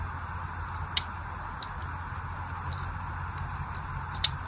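A small black craft knife scratches more score lines into a solid pink-and-white striped bar of soap, already covered in a crosshatch of cuts and held in one hand. Short, bright, dry ticks and scrapes pop out sparsely over a steady low hum and faint hiss.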